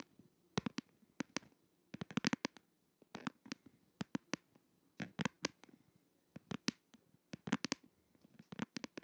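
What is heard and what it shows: Fingertips and nails tap and scratch the glitter back of a plastic case on a smartphone held upright in both hands. Quick bursts of sharp, dry clicks with bright edges come in clusters, separated by short pauses. Each tap dies away almost instantly.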